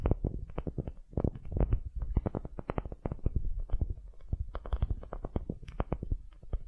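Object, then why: Small wooden cube. Long nails scratch the surface of a solid, light wooden cube held in the hands, making a steady stream of quick, dry scraping strokes. The sound is soft and muffled, with most of its weight in a low rumble and almost nothing bright. Each stroke dies away at once with no ring.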